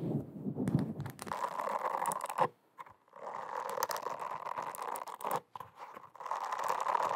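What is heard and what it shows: Long acrylic nails scratch and tap across a small, round, teal silicone face scrubber, a solid, flat cleansing pad with holes. A soft, continuous rasping scratch sits in the midrange, with dull low taps at the start. It breaks off in brief silences around three seconds and again near five and a half seconds before resuming.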